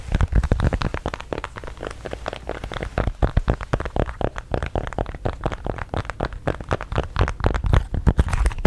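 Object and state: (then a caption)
Silicone pop-it fidget toy. A square, hand-sized teal silicone pop-it fidget toy with hollow bubbles is held in both hands while fingertips and long painted nails press and pop the bubbles. A rapid, irregular stream of short, dull, low popping clicks follows, with little ringing after each pop.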